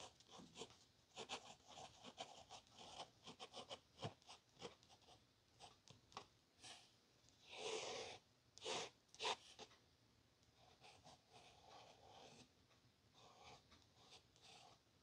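Soft, dry scratching strokes of a capped pen tip dragged over a thin paper page.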